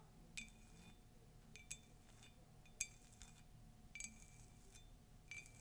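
A hollow, empty cream glossy ceramic mug with a Disney castle print is tapped and scratched with long nails. Scattered bright, glassy clinks die away quickly, with soft scratching between them over a quiet low background.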